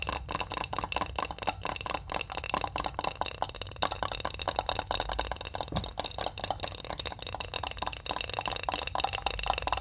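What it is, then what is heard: Glass mason jar. A medium glass mason jar with a metal screw lid, filled with folded pink paper notes, is held up and tapped and scratched with long fingernails by several fingertips on its glass sides and lid. Fast, crisp clicks and scratchy rasps run continuously with a bright edge and almost no ring. The taps crowd together too densely to count.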